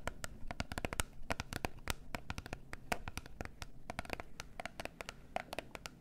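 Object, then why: Small closed cardboard box. Long nails rapidly tap and scratch the faces of a small, closed, gold cardboard face mask box. The result is a dense run of dry, bright clicks that die away almost instantly, with a soft scratchy rustle and a low, dull body underneath.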